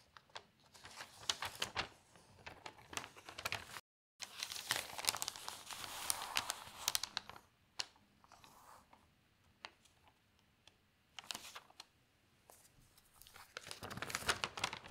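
An open newsprint newspaper on a table has a page turned and then smoothed with the fingertips, making bright, papery crinkling and rustling. Dense bursts of crackle come in waves, broken by a brief silence early on and a quieter stretch of sparse, sharp ticks in the middle. The crinkling swells loud again at the end.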